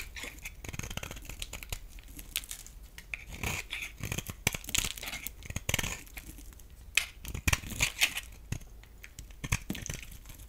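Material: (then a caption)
Soap. A solid oval bar of green soap held in the hand is scraped and carved with a metal utility blade. The result is a steady stream of dry, bright scratching and crackling shaves with many quick, crisp bursts. The sharpest cuts come near the end.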